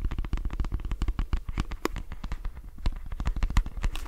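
Fingernails scratch the glossy plastic back of a lilac plastic detangling hairbrush and run across its plastic bristles. The result is a rapid, uneven stream of short, dry clicks and ticks with a dull, thumpy low end, each tick dying away almost instantly.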